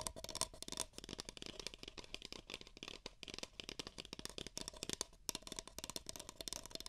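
Two identical empty, hollow beige paper cups are tapped and scratched with long nails over the mic ears. The result is a quiet, dense stream of rapid, dry clicks and crackly scratching, bright and papery with almost no ring after each tap.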